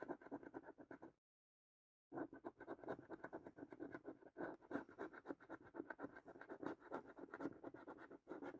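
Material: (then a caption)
Card, latex. A coin held in the fingertips scratches the lower latex-coated panels of a thin cardboard paper scratch card, making a steady stream of quick, dry rasping strokes centered in the low mids. The scratching stops for about a second of silence, then resumes just as busily through to the end.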